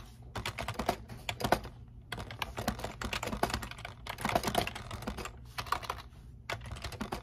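A full-size black plastic computer keyboard resting on a desk is typed on continuously with the fingertips of one hand. It makes a rapid stream of short, crisp clicking key presses with a low, soft thud beneath them. Brief pauses break up the typing into bursts.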